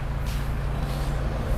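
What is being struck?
Nothing is struck.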